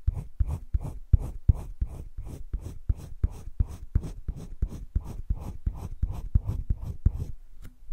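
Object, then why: Colored pencil on paper sketchbook page. A green wooden colored pencil, held in the fingertips, scratches and shades across a flat sheet of drawing paper in a spiral-bound sketchbook. Quick back-and-forth strokes arrive in a steady run of about three per second, each a short, dry, low-weighted rasp with no ring.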